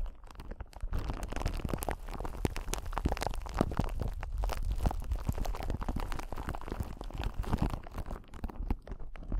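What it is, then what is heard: Clear crystal ball. A clear, palm-sized solid crystal ball, possibly acrylic rather than glass, is held close to the microphone and scratched and tapped with the long acrylic nails of both hands. The result is a dense, continuous stream of soft clicks and scratchy crackles over a heavy, muffled low rumble, with little brightness and no ringing after each touch.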